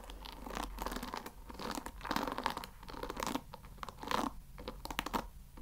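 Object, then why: Wooden paddle brush with wooden pins. Fingertips scratch and rub the wooden pin bristles of a wooden paddle hair brush. The result is a series of dry, crunchy, crackling scratches in uneven bursts that rise and fade.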